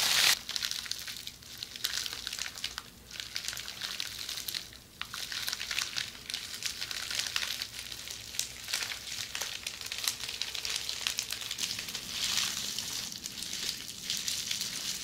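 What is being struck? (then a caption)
Plastic bubble wrap. Long metallic red nails tap and scratch on the air-filled bubbles of red plastic bubble wrap in close-up. A steady, dense stream of bright, crinkly crackling and sharp little ticks runs throughout, with almost no low end and occasional louder bursts.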